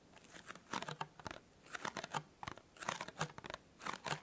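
Fingernails scratch and tap rapidly on the petal-fold top of a small, hollow, white printed cardboard tea gift box. The result is quiet bursts of dry, papery scratching and crisp tapping clicks, each dying away almost at once, with a light hollow knock beneath the bright rasp.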